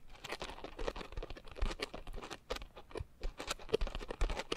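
A pink, coarse, porous foam scrub sponge is gripped at the sides while fingertips and nails squeeze and scratch the foam. The result is a dense, irregular patter of short, dry scratching and crinkling bursts with a soft low thump beneath them and no lingering ring.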